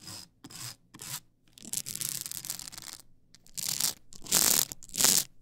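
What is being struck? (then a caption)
Stack of polycarbonate CD discs on a spindle. Long acrylic nails scratch and rub the ridged side of a tall stack of blank polycarbonate CD-R discs on a plastic spindle. The result is bright, hissy scraping in short bursts around a longer continuous rub, with almost no low end. The last few strokes are the loudest.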